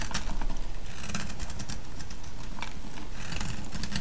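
A solid yellow soap bar held in the hand is shaved and scraped with a metal blade, sending flakes falling. A dense, steady run of short scraping strokes repeats at a fast, uneven pace, with the energy almost entirely low-pitched. Thin, bright scratchy flecks rise above it.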